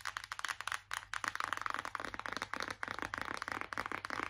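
Long acrylic nails tap quickly on the back of a white printed cardboard palette box held in both hands. About eighteen crisp, dry clicks come in a fast, uneven run, each dying away almost at once, with a papery tone centered around 1 to 2 kHz and almost no low end.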